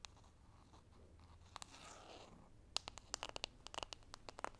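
Short rounded nails scratch and tap across the glossy printed surface of a small, square, hollow holographic foil-printed cardboard makeup box held in both hands. Soft, crinkly scratching fills the first half. It gives way to a quick run of sharp, bright, dry taps with almost no ring.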